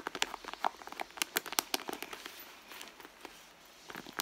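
Long blue nails scratch and squeeze the soft leather at the end of a red leather handbag with a small metal logo plate. The result is a dense run of quick, dry, crackly scratches and crinkles, bright with no low end, that eases into a quieter rustle midway before picking up again at the end.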